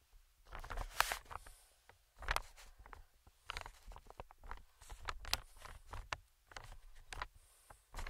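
Fingertips tap and scratch the surface of a medium green, inflated, hollow air cushion made of recycled plastic film. Bursts of soft crinkly tapping and dry scratching come in clusters, with short quiet gaps between them. The sound is quiet and papery, with a low thump under bright rustle.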